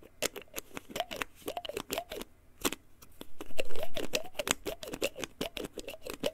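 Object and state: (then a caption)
Plastic pill bottle. Fingertips and nails tap, scratch and handle a small white plastic pill bottle with a printed label, likely holding pills. Quick, irregular clicky taps with bright edges mix with curved scraping sweeps, with a louder rustling swell around the middle of the clip. Each tap dies away almost instantly.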